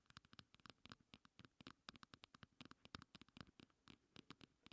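Long nails tap and scratch the sides of a small pink heart-shaped plastic compact held upright. The result is a quiet, rapid run of about thirty short, dry clicks with bright edges and almost no ring, mixed with faint scratching between the taps.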